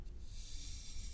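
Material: Nothing is struck.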